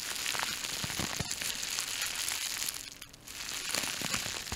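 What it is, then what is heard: Plastic bubble wrap being crinkled and popped. A small sheet of clear plastic bubble wrap is held in both hands close to a microphone and squeezed and crinkled with fingertips and nails to pop the bubbles. Bright, dense crinkling runs throughout, broken by sharp popping snaps, with a brief quieter lull near the three-second mark before the crackling picks up again.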